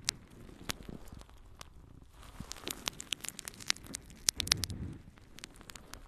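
A yellow, porous natural sea sponge is held in both hands and scratched and squeezed with long nails. The result is a dense run of sharp, bright crackling ticks and scratchy rustles over a faint low rumble, with a slightly fuller squeezing patch near the end.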